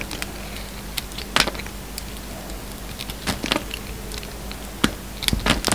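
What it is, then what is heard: Bar of soap being cut. A yellow utility knife blade carves and peels pieces off a hand-sized solid white bar of soap with a black sparkly outer coating. Short, crisp, bright scraping and crackling bursts come in scattered clusters over a faint steady low hum, each cut ending almost at once.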